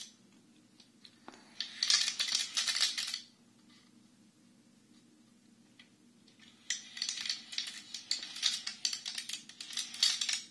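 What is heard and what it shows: A Chinese abacus with a wooden frame and red wooden beads is held at both sides and tilted and shaken, so the beads slide and clack. There are two bursts of dense, bright clicking rattle: a short one early on and a longer, uneven one after a quiet pause, over a faint low hum.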